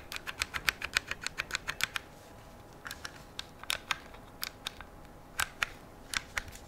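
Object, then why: Rifle receiver and controls, metal and polymer. Fingers tap and click the metal receiver and controls of a black AR-style rifle with a polymer stock and grip, held across a lap. About 28 sharp, bright clicks are heard: a quick run of taps for the first two seconds, a short pause, then scattered clicks. Each one stops instantly against a quiet, steady background.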